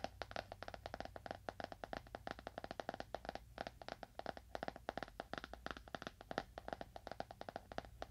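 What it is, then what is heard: Leather-bound book. Fingernails tap a leather-bound book at a moderate to fast pace, producing a quick run of about 57 short, dry clicks over eight seconds. Each tap dies away almost instantly, with a mid-pitched knock over a faint, steady low hum.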